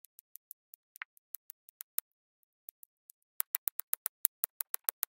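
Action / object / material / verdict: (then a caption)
tap / resin drills pressed onto an adhesive canvas with a plastic pen / resin / none. A pink plastic drill pen with a waxed tip presses small square cream-colored resin drills onto a flat, sticky coated diamond painting canvas on a table in quick repeated dabs. The result is a series of quiet, crisp, high ticks with almost no ring, first sparse and then denser and louder toward the end.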